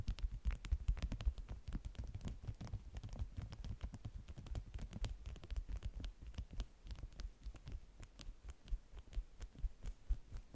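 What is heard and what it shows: Long manicured nails and fingertips tap and scratch the top sheet of a flat, folded stack of bee-print, beeswax-coated cotton food wraps resting on a white table. The result is a quiet, fast, uneven patter of soft, dull taps and brushing scratches, mostly low thumps with brief faint bright clicks.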